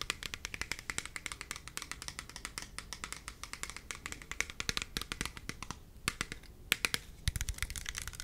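Fingernails and fingertips tap rapidly on the body of a hand-sized, hollow, clear plastic spray bottle with a black trigger head, held close to the mic with liquid inside. The result is a dense run of quick, dry, bright clicks that stop instantly, with a brief lull around the six-second mark before the tapping picks up again.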